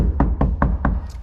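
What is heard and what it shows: Five dull, short knocks on the sheet-metal floor of a 1974 Chevy squarebody ramp truck, covered with Kilmat butyl sound-deadening mat, over a steady low hum. Each knock dies away quickly with almost no ring, so the floor sounds solid and well damped.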